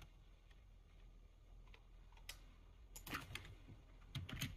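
One hand's fingertips slowly press and tap the keys of a full-size black plastic computer keyboard. Sparse, soft clicks sound over a low background hum, then thicken into quick, brighter clusters of taps near the end.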